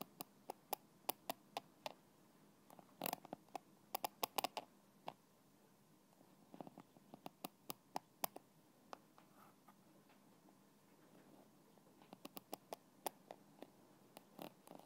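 A thin black stick taps and scratches the red plastic cap of a small translucent plastic bottle held in one hand. Dozens of sharp, dry, bright clicks come in irregular clusters, with faint scraping between them over a quiet, steady background hum.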